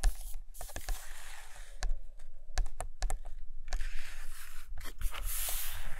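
Long nails scratch and tap across both glossy paper pages of a large open hardcover photo book resting on a carpet. Bright, dry scraping strokes are broken up by short, sharp clicks over a faint low hum.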